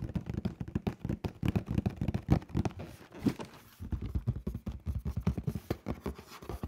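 Fingertips tap rapidly on the face of a hollow black cardboard shoe box, then on its top edge. The result is a steady stream of soft, dull, low-pitched thuds with a hollow body and almost no ring, broken by a brief pause midway.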